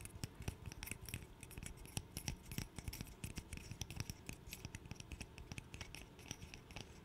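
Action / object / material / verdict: tap / small wooden interlocking puzzle / wood / none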